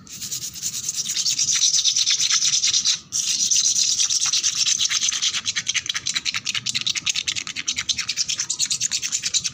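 Long black nails scratch and rub fast and aggressively across a flat, solid concrete floor with peeling red paint that is wet with bubbles. A bright, hissy scraping swells in and runs almost continuously, breaks off briefly near three seconds, then returns as quick, rhythmic strokes that become more distinctly separated toward the end.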